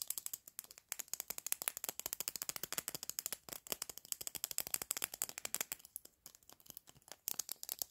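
Fingers twist and click the clear plastic cap of a small hollow plastic lipstick tube on and off while nails tap on it. The result is a rapid, steady stream of dry, bright, ratchet-like clicks with no ring, broken by a few brief pauses.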